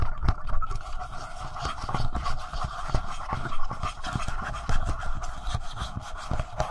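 Short nails scratch and tap the sides and front of a handheld black plastic Tascam audio recorder. Close, dry scratching runs throughout, punctuated by many soft, low-heavy taps and thumps. A steady mid-range tonal band sits beneath the scratches.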